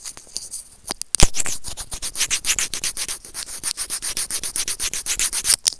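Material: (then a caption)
Plastic. A small hollow white plastic earphone mic remote is rubbed and scratched with white plastic serrated tweezers. The result is a fast run of close, bright, gritty scraping strokes. A sharp loud knock comes early in the clip.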